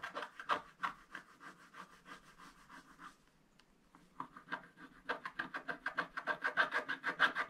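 A wooden stylus scratches the lower part of a black-coated scratch-art paper page lying flat on a table, making about 25 short, dry scraping strokes in a quick rhythm. The strokes thin out into a near-quiet pause midway, then return louder and denser with a brighter rasp toward the end.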